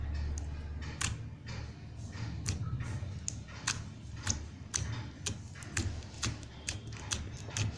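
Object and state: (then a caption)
Glitter slime in plastic tub. Fingertips repeatedly poke and press into blue glitter slime in a small round blue plastic tub held in one hand. Short, sharp, bright sticky clicks and pops sound at irregular intervals over a steady low rumble. Each pop dies away almost at once.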